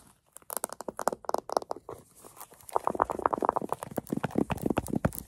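A small, hollow green velvet case with a metal zipper is scratched and tapped quickly with long acrylic nails while its zipper is handled. The result is a dense run of soft, dry taps and scratchy, crinkly rustles centered in the midrange. Each touch dies away instantly, with no ring.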